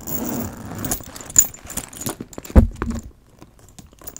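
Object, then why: Leather handbag with metal chain. A brush scratches and strokes a black leather handbag with a gold chain, working over both the leather and the metal hardware. A soft, rustling scrape gives way to light metallic clinks and taps, then a heavier low thump before the sound drops to near silence with a few faint ticks.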